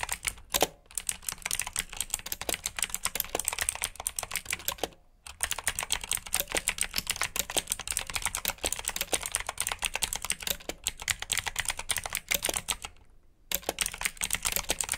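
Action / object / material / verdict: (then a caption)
tap / plastic mechanical keyboard / plastic / none. A black plastic backlit mechanical keyboard with blue switches is typed on with the fingertips of both hands. It gives rapid, bright, clicky keystrokes in a steady stream, broken by short pauses near 5 seconds and 13 seconds.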